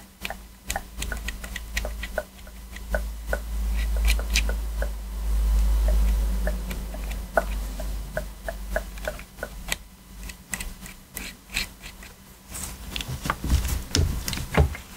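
A thin metal pick held in a gloved hand scrapes along the crevices between the buttons of a black PS4 controller made of hollow hard plastic. Quick, irregular ticks and short scratches sound over a steady low hum, each click dying away almost instantly, with bright, sharp edges on the strongest ones.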